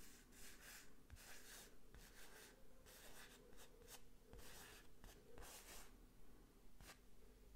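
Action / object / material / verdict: scrape / printed canvas wall picture on a rigid frame / canvas / none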